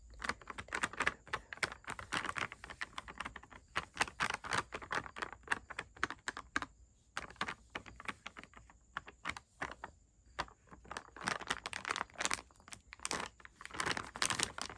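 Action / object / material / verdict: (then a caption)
tap / plastic candy bag / plastic / none. Long red nails rapidly tap and scratch a full plastic lollipop bag lying on a bed, the fingers moving across it. Quick, dry crinkling clicks and rustles come in dense bursts with brief pauses, bright and crisp with almost no low end. A faint, steady high hiss sits underneath.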